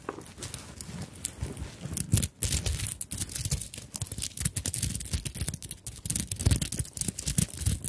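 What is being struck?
Fabric handbag covered in sequins and beads.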